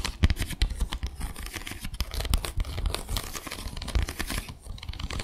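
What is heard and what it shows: Long acrylic nails scratch across the slats of a small, flat bamboo slat placemat with fabric edging. The result is a dense, continuous rasping and crinkling made of rapid, closely spaced clicks over a heavy low-end rumble. Each click decays almost instantly.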